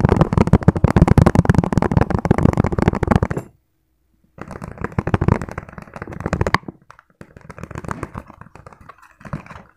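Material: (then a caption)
Plastic. A hand-sized, hollow, empty clear plastic food container with ribbed sides is tapped very fast with fingertips, making a dense stream of short, dry, low-heavy taps. The loud burst stops after about three and a half seconds, leaving a second of silence. The tapping then resumes quieter and duller, in uneven bursts, until the end.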